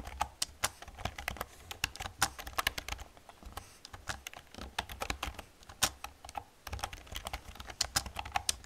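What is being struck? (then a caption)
Plastic computer keyboard. Long nails and fingertips type and tap on the keys of an old, hollow black plastic computer keyboard. A steady run of sharp, bright clacks with very short decay comes through over a faint low hum.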